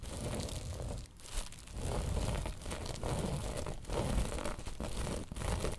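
Long nails scratch across a woven tapestry bolster pillow, producing a continuous dry, crinkly rasp with a heavy low rumble underneath. The strokes come in uneven bursts with brief dips between passes.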